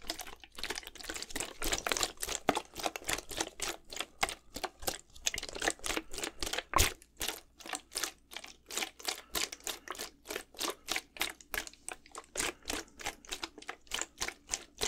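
A clear plastic Gatorade bottle, partly filled with blue liquid, is shaken horizontally in one hand close to the mic. The liquid sloshes in quick, steady, bright splashing bursts with short gaps between them, over a faint low hum.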